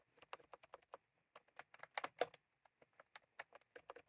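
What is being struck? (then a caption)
Plastic computer keyboard with round keycaps. Fingertips of both hands type continuously on a full-size plastic computer keyboard with round cream typewriter-style keycaps, resting on a desk. Quick, dry clicks with little ring follow one another in an uneven rhythm, with a brief pause midway before a louder cluster of keystrokes.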